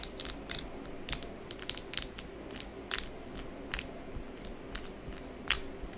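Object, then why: Acrylic fake nails. Long pink acrylic fake nails on both hands are tapped and clacked tip against tip in fast, irregular bursts. The result is a rapid run of sharp, bright, dry plastic clicks with no ring, set over a faint low hiss.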